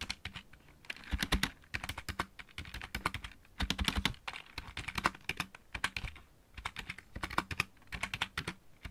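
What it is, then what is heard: Plastic mechanical keyboard. Fingertips of both hands type on a full-size backlit mechanical keyboard with plastic keycaps. Quick, crisp clicks come in bursts with brief pauses between them, each stroke short and dry, with a bright clack over a light low thump.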